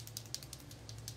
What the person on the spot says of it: Vous secouez, vous entendez? La petite bille à l'intérieur, c'est liquide.